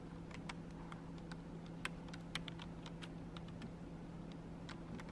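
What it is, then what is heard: Plastic computer keyboard. Long acrylic nails type on and tap the plastic keys of a black plastic computer keyboard, making quick, sharp clicks. The clicks sit over a steady low hum.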